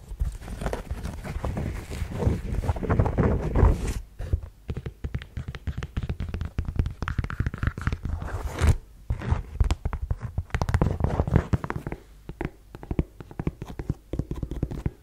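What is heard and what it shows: Long yellow nails scratch across the suede and tap on the block heel of a black suede ankle boot. The result is a rapid stream of dull, low, short-decaying taps and soft scraping. A louder, busier scratching stretch in the first few seconds gives way to quieter, sparser tapping that picks up again toward the end.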